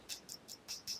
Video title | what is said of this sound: Vintage Watch Unboxing | sounds like glass so this is a difference so you know you can tell a lot by feeling and tapping